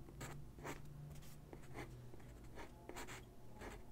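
A graphite pencil sketches lines across a single white sheet of drawing paper resting on a wooden desk. Soft, bright scratching strokes come in quick repeated bursts over a steady low background hum.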